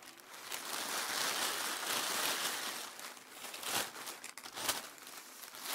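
Several thin sheets of mint green, white and faint pink tissue paper on a dark surface are crinkled, folded and rubbed between bare hands. The result is a continuous bright, airy crinkling and crackling with no low end, peaking early and then easing into softer rustles punctuated by a few sharper crackles near the end.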